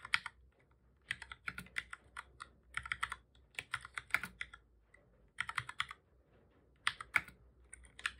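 Fingertips of both hands type on a black full-size plastic computer keyboard, making repeated key presses. Quick, bright clicks come in bursts of rapid strokes separated by brief pauses. Each click is dry and short, with almost no low end.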